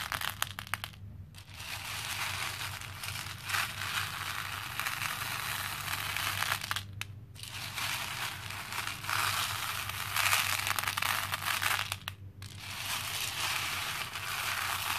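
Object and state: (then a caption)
Plastic pearl beads in a plastic bowl. Both hands squeeze and press into a pink plastic bowl full of small cream plastic faux pearl beads. The result is a dense, bright, continuous crunching and clattering rattle, with short pauses near 1, 7 and 12 seconds.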